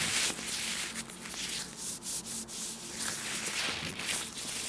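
Hands in thin, clear plastic disposable gloves coated with oil are rubbed and squeezed together in front of a small black microphone. The result is a continuous slick, hissy rubbing dominated by high frequencies, with brief dips and swells as the squeezing shifts.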